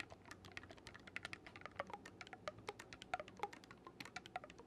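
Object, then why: Wooden oboe with metal keys. Fingertips rapidly click the silver metal keys of a black wooden oboe held upright. About 33 short, dry clicks sound in an uneven patter, each a bright tap with a woody note near 730 Hz that dies away almost instantly.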